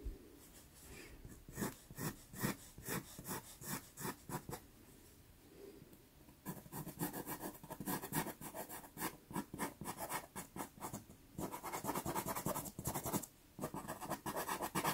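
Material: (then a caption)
Paper. A natural-wood pastel pencil makes short hatching scratches on a small taped sienna Pastelmat card. The result is bursts of quick, dry, papery rasps with a few brief pauses. The strokes grow denser and brighter toward the end.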